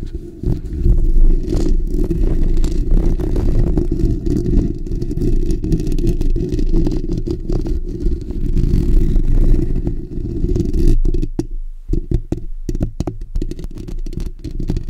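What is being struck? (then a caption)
Steel wire-mesh microphone grille. Fingertips and short natural nails on both hands scratch the bare steel wire-mesh grille of a black desktop condenser microphone with a hollow dome. The sound is a dense, booming, low rumbling scrape that runs almost continuously. Near the end it breaks into choppier bursts with brief silent gaps.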